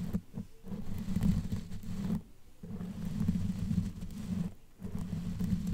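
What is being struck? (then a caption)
Knitted yarn microphone cover. Long nails scratch a black knitted yarn sleeve fitted over a microphone head, using both hands. The result is a dense, low, muffled rumbling scratch in sustained stretches, broken by brief quieter pauses, with little high-end content.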